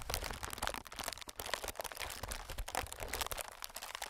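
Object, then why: Inflated plastic film air pillow. Fingertips of both hands tap and scratch across a clear, inflated plastic-film air packing pillow. The result is a dense, continuous stream of soft crinkling and crunching with quick, bright taps. Each sound dies out almost instantly, with no ring.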